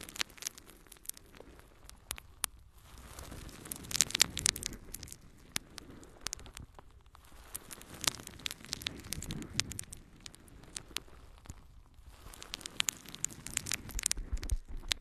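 A yellow, porous natural sea sponge is held in both hands and scratched with long nails. The result is dense, bright crackling and crinkling with many sharp clicks. Softer rustling swells come and go between the scratches.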